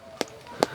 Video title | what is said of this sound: কনকনে শীতে ১১ কেজি ওজনের বারোমাসি ভিয়েতনামি কাঁঠাল - উদ্যোক্তার খোঁজে | একদম পুরা পাকা কাঁঠালের একটা ঘ্রাণ আসছে, মানে ঢপ ঢপ শব্দ হচ্ছে